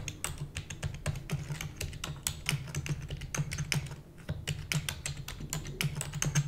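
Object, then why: Plastic computer keyboard. Long nails type rapidly on a black plastic computer keyboard. A dense stream of sharp, bright clicks with very short decay rides over a steady low hum, with a brief lull just before the fourth second.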